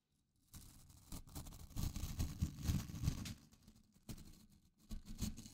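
Fingertips scratch and flick the white nylon bristles of a small blue plastic scrub brush held close to the microphone. After a brief silence, irregular bursts of dense, low, muffled rustling and scratching swell and fade, with a few sharper flicks cutting through.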